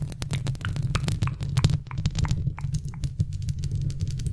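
Long red-painted nails tap and scratch around a large, hollow silver metal mesh microphone grille, held close. A rapid, irregular run of sharp clicks and scrapes rides over a dense low thump centered near 141 Hz, with brief bright ticks above.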